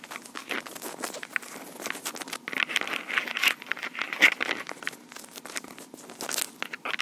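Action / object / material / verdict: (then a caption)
scrape / plastic portable audio recorder with metal mic capsules / plastic / none. Long pink acrylic nails scratch and tap the top of a small black plastic Tascam portable recorder with metal mic capsules. Dense, crinkly scratching runs under quick, sharp taps, all bright and high with almost no low end. The sound stays close and dry, with each tap dying away almost at once.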